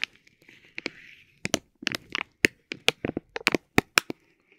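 A metal ball-tipped stick taps and scratches a soft, clear vinyl plastic bag wrapped around a tape roll. About fifteen sharp, bright crinkling taps snap out with very short decays, and a soft scratchy rustle runs between them.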